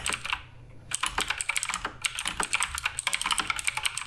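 A black RGB Redragon K588 Broadsword mechanical keyboard is typed on continuously with fingertips striking its plastic keycaps. Bright, crisp clacks come in a quick, uneven stream with a brief pause near the start. Each keystroke is dry and short with almost no low end.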